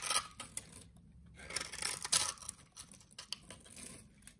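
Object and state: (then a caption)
Soap bar being cut. A utility knife blade shaves small cubes from a solid green rectangular soap bar with a scored surface, held in the hand. Bright, crisp scraping and crackling cuts come in short bursts, separated by brief quiet pauses, with almost no low end.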